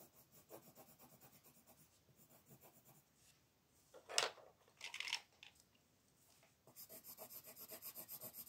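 A blue wooden colored pencil shades the beak on a flat paper coloring page resting on a wooden table, moving in steady back-and-forth rubbing strokes while the other hand holds the sheet. Quiet, bright, scratchy pulses of pencil on paper repeat in a soft rhythm, with a couple of louder, sharper scrapes in the middle before the fast rhythmic strokes return at the end.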